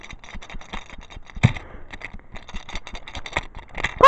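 A 2013 Flying Scotsman toy train engine with plastic bogies, rather than the original wooden ones, is moved about and rattles. The result is a quick series of light, dry plastic clicks and clatters, with a sharper knock around the middle and a louder clack at the end.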